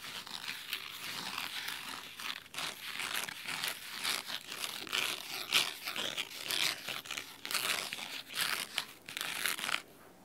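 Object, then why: Cloth-bound hardcover book. Fingernails scratch the cloth spine of a large red cloth-bound hardcover book. The result is a steady run of crisp, bright, dry scratching strokes with almost no low end. They fade to near silence in the last half second.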